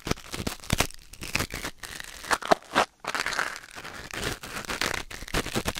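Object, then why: Silicone ear on a binaural microphone, scraped by a wooden ear pick. A thin wooden or bamboo ear pick held in the fingers scratches and scrapes inside the canal of a white silicone ear mounted on a black binaural microphone. Close, dry crinkling and crunching scrapes come in rapid bursts with brief pauses, spread broadly from low rumble to bright hiss. A few sharper clicks stand out near the middle.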